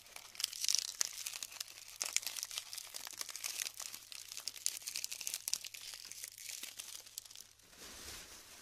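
Both hands squeeze and break up clumps of glued, colored styrofoam balls between the fingers over a tray. The result is a dense, bright crinkling and crackling made of many sharp little snaps and pops. Near the end it fades to a softer, quieter rustle.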